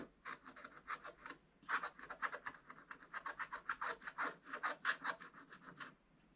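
A wooden stylus scratches firmly and repeatedly across the dragon area of a black wax-coated scratch-art page in a spiral book. The result is a quick run of dry, bright rasping strokes with a short pause early on. Each stroke stops with almost no ring.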